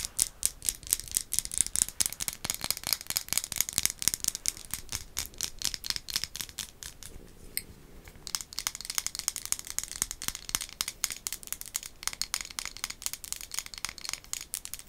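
Long acrylic nails tap and scratch quickly over a hollow, white-glazed ceramic ghost mug, making dense, bright clicking and rattling sounds. The ticks are dry and high-pitched with almost no ring, and they pause briefly around the middle before resuming at the same pace.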